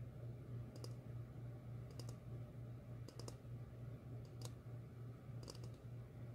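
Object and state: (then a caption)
Empty ceramic bowl. Long fingernails tap a medium, glossy red ceramic bowl, hollow and empty and held upside down. Quick, bright clicks arrive in small clusters with short pauses between them, each dying away almost at once. A steady low hum runs quietly underneath.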